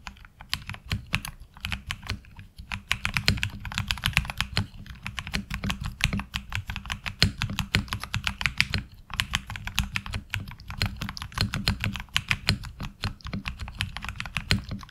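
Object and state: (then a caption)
Mechanical keyboard with ABS keycaps. Continuous typing with the fingertips of both hands on a HyperX Alloy Origins Core tenkeyless mechanical keyboard with ABS keycaps and tactile switches. It produces a dense, rapid stream of short, sharp clacks, each with a bright upper click over a low thock. The keystrokes die away almost instantly, with brief pauses near 2.5 and 9 seconds.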